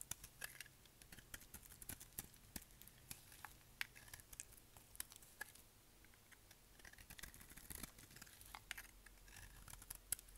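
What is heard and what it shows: A solid, dry, dark grey bar of soap held in the hand is scraped with a utility knife blade. The result is a quiet, steady run of many short, dry, bright scratching ticks, with no ringing after each stroke.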